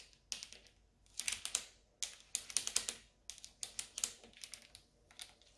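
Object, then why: Stainless steel appliance control panel. Long orange nails tap the brushed stainless steel control panel of a Siemens dishwasher, a solid flat strip with round buttons. The result is bursts of quick, bright, clicky taps with almost no low end, each one dying away almost instantly, separated by short quiet pauses.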